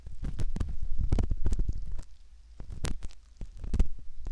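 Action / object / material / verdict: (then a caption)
scrape / silicone ear model scraped by metal ear pick / silicone / none. A metal ear pick scrapes at the canal opening of a soft silicone ear model, giving close, muffled low scratching and rubbing with brief brighter clicks. The sound comes in bursts, fading into quieter stretches around 2 to 2.5 seconds and again near 3.4 seconds before it picks back up.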